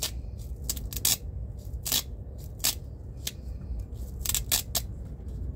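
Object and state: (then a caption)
Nylon belt with velcro straps. Fingertips press and peel apart the six velcro (hook-and-loop) strips on a thin black nylon belt held in both hands. A series of short, bright ripping and scratching bursts rises over a steady low rumble, with quieter crackles in between.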